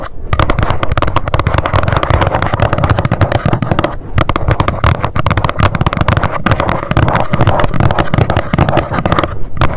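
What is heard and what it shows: Long nails tap rapidly on the front panel of a small, hollow white cardboard box standing upright. The fast, dense tapping runs almost continuously for about ten seconds, with dull, hollow, low-heavy thumps that carry little brightness and die away quickly.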